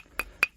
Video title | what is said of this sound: Market to Meal - We Grill Some Giant Trevally and Cuttlefish Steaks | you got good charcoal if you bang it together like two of these uh sticks of charcoal and it sounds like glass